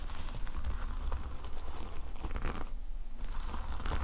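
Fingers and nails scratch and brush the red and black plastic sequin fabric cover of a notepad lying flat. A steady, crinkly rustling and scratching runs throughout over a strong low rumble, easing briefly around the three-second mark before resuming.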